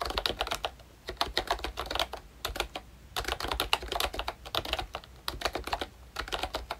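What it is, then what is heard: Plastic membrane keyboard being typed on. Fingertips type on a pink plastic retro membrane keyboard with round keycaps and a hollow body, a ROYCHE Disney Mickey Mouse model. Bursts of short, bright plastic clicks come in quick runs, with brief pauses between them and almost no ring after each keystroke.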